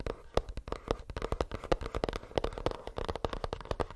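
Fingernails tap rapidly and unevenly on a plastic earbuds case, making a steady stream of sharp, dry clicks. Each tap dies away almost at once with no ringing, leaving a faint hollow mid tone from the case.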